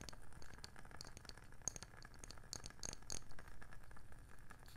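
A round, palm-sized wooden candle lid with a rim is held in one hand and tapped and scratched with long nails on its label side and underside. A steady run of quick, dry taps and scratchy rattling has a low, muffled body, with a few sharper, brighter clicks standing out near the middle.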